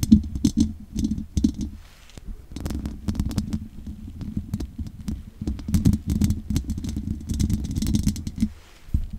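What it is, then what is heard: Metal mesh microphone grille scratched with nails. Long nails scratch along the sides of the hollow metal mesh grille on a large condenser microphone. The result is a run of rough, close scraping bursts with a low, hollow, resonant rumble and flecks of bright crackle. The scratches come in uneven flurries with short pauses between them.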